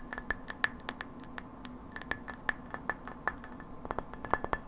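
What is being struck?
Frosted glass light bulb.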